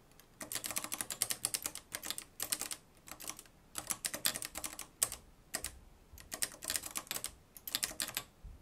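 Fingertips type continuously on the dark plastic keys of a mustard-yellow, plastic-cased manual typewriter with a metal mechanism. Bursts of rapid, bright, dry clacks come in quick runs separated by brief pauses, each strike ending almost instantly with little low-end weight.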